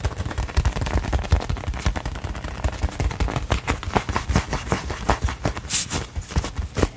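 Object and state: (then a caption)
Leather football, tapped and scratched. Fingertips and nails tap and scratch the pebbled leather surface of a hollow, inflated brown American football with a white stripe and laces, held in both hands. The result is a fast, dense run of deep, hollow thumps mixed with brief, bright scratching bursts, each tap dying away almost instantly.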